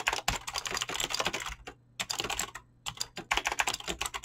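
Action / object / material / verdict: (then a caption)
tap / mechanical keyboard with clicky switches and PBT plastic keycaps / plastic / none. A full-size mechanical keyboard with Razer clicky green switches and dyed PBT plastic keycaps, resting on a desk, is typed on fast with fingertips and short nails. Rapid bursts of sharp, bright clicky keystrokes are broken by two brief pauses, producing continuous crisp, high-pitched tapping with almost no low end.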